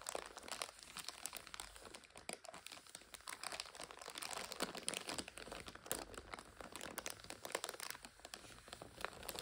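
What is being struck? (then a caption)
Instant noodle multipack in plastic overwrap. Long nails scratch and tap a full purple five-packet instant noodle multipack in its plastic overwrap while fingers press it. The result is quiet, dense, bright plastic crinkling with quick sharp clicks and almost no low end.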